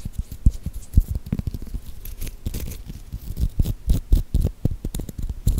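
Long painted nails tap and scratch along the bumpy skin of a whole, solid green cucumber held right at the microphone. The result is a quick, irregular run of dull, low, close-up thuds, each dying away almost instantly, with faint bright scratchy rasps between them.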